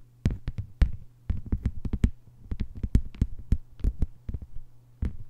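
Long white-polished nails on both hands tap a thin, solid, flat lime-green plastic cutting mat lying on a table. They make quick, uneven bursts of short, dull, low-pitched taps with sharp clicky edges and almost no ring. A steady low hum runs underneath.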